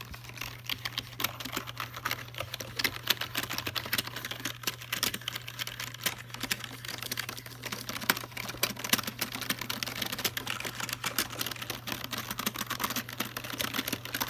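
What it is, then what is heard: Plastic computer keyboard. Fingertips tap and press the keys of a full-size black plastic Logitech keyboard, including the navigation and right-hand keys. The result is a rapid, uneven stream of short, bright plastic clicks and taps that die away almost instantly, over a steady low hum.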